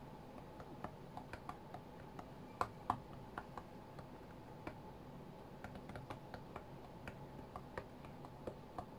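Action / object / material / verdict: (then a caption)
tap / tablet glass touchscreen / glass / none. Fingertips tap on the glass touchscreen of a white iPad lying flat on a mat while playing a rhythm game. About two dozen short, dry clicks come at an irregular pace, with a light tonal tick near 730 Hz over a low, steady background hiss. Each tap dies away almost instantly, and a couple of taps land noticeably sharper than the rest.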